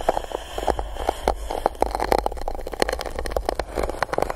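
An empty gold-coated paper cup held over the microphone is scratched and poked on its top with a small silicone spiky tool. The result is a steady stream of short, dry taps and scrapes with a hollow midrange tone around 800 Hz. A low rumble runs underneath throughout.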